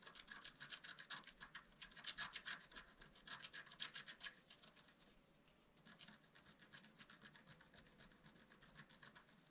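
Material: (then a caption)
Coated card. A wooden stick scratches leaf details into a flat, black-coated scratch-art paper card. Quick, bright, rasping strokes repeat in a steady back-and-forth rhythm. After a brief near-silent pause about two-thirds of the way through, the scratching resumes more softly.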